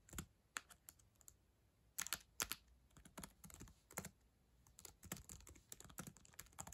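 Long acrylic nails and fingertips type on the plastic chiclet keyboard of a black ThinkPad laptop, producing a quick, irregular run of sharp, bright plastic clicks and taps. Each click is crisp with almost no ring, some falling in brief clusters, over a quiet background.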